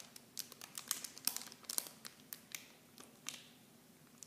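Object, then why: Plastic film bag holding small plastic bottles. A small clear plastic film bag holding blue plastic miniature shampoo bottles is held in both hands and squeezed and crinkled by fingertips and long painted nails. The result is a quiet, bright, dry crinkling made of a rapid series of sharp crackles and rustles, with almost no low end and no ring after each crackle.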